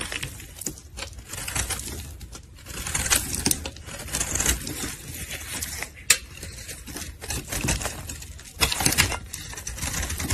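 A solid pink soap bar held in gloved hands is scraped and shaved with a metal utility blade. It makes a steady, bright scratching and crumbling texture broken by sharp, short clicks as the blade bites and flakes off pieces, with a few louder snaps along the way.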